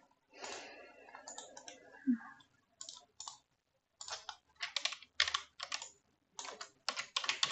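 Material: Plastic.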